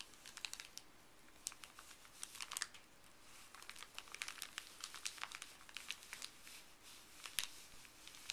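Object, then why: Empty folded paper bag. Fuzzy gloved fingertips rub and scratch a folded, empty, printed white paper pharmacy bag. A quiet, steady bed of bright crinkling and scratchy rustle is broken by frequent sharp crackles that die away almost instantly, with very little low-end weight.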